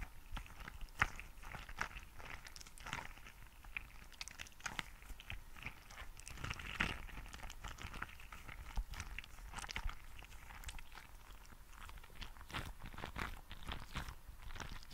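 A green translucent rubber squishy frog toy filled with gel beads is squeezed between fingers close to the mic. It gives a steady stream of soft, dense crunching and crackling from the beads, with short sharp clicks scattered throughout and no ringing between them.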